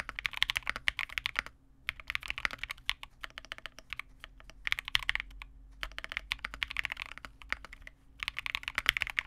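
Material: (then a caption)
Plastic. A Vega65 custom mechanical keyboard with re-lubed Cobalt switches, a dark case, a PC plate and white/cream plastic keycaps sits on a desk and is typed on continuously with the fingertips of both hands. Bursts of quick, bright plastic clacks centered near 2 kHz are separated by brief pauses. Each keystroke is dry and short, with no ring.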